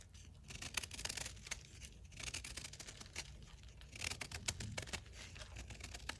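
A ceramic knife carves and scrapes flakes off the edge of a solid blue-dyed gym chalk block held in the hand. The scraping is continuous and brittle, with dense bright crackling and sharp clicks arriving in three bursts, over a low steady rumble.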